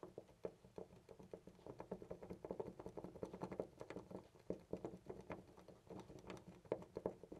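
A hand rapidly jiggles a loose, round brass-finish door knob on a white panel door, keeping hold of it with the fingers throughout. The result is a quiet, continuous stream of rapid, dull rattling clicks with short, dry taps centered in the low-mids and little high-end.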